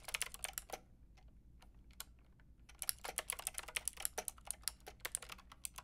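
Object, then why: Plastic mechanical keyboard with round keycaps. Long painted nails and fingertips type on a white-pink backlit plastic mechanical keyboard with round plastic keycaps. Bright, sharp clicks and clacks come in quick bursts, with sparser taps in a quieter stretch midway, before rapid typing resumes.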